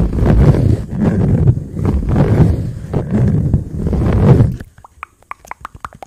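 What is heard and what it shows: A hand-sized, rainbow-colored octagonal silicone pop-it toy is held near the microphone while fingertips press and pop its bubbles. For about four and a half seconds, dense, muffled low thumps and rumbling rolls come in rapid clusters. Then it drops to quieter, sharp, separate little pops with bright clicky tops.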